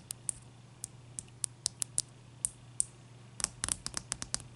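Long nail tips tap a large, clear, solid ice cube resting on a towel, making about seventeen sharp, bright clicks with almost no ring. The taps are spaced out at first, then come in a quicker cluster near the end, over a faint steady low hum.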